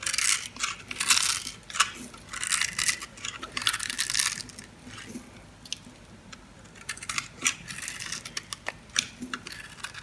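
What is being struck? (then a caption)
Scored bar soap cut with a blade. A blade scrapes and crunches small cubes off a solid red bar of soap, pre-scored into a grid and held in the hand. Dense bursts of bright, crisp crackling and scraping fill the first half, ease into a quieter stretch of soft rasping, then return as sharper, scattered snaps with almost no low end.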